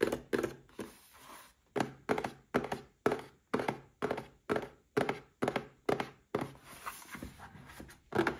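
Fingertips and short nails tap on a small red cardboard gift box holding a Paladone Mario Kart glass. The dry, hollow thunks come in a quick, uneven rhythm, each dying away almost at once, with a few softer scratchy brushes between them.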